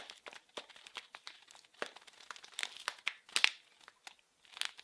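A small blue printed package wrapped in plastic film is squeezed and crinkled with fingers and nails. It makes quiet, dry, bright crackles in quick irregular bursts with almost no low end. A few sharper, louder crinkles stand out near the end.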